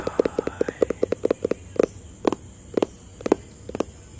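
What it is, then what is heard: Hollow cardboard box. Fingertips tap on a hollow white and blue cardboard product box, producing about eighteen short, dry, hollow knocks with a low-mid tone and almost no ring. The taps come in a quick, uneven flurry at first, then slow to sparser, slightly louder single taps, over a faint steady high hiss.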